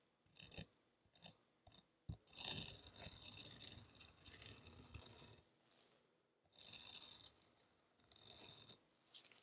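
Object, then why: Kinetic sand block. The tip of a red knife scratches and drags across the sandy top of a palm-sized, solid molded kinetic sand footprint lying on a white surface. It makes bright, gritty crunching scrapes in short bursts, then one long continuous drag, with quiet gaps between strokes.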